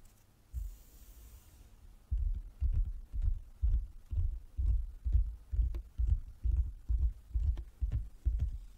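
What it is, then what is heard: Wooden table. Fingers tap on a wooden table, making dull, low thumps with almost no ring. After a faint hiss, a single thump lands early. A quick, fairly steady run of soft knocks then continues from about two seconds to the end.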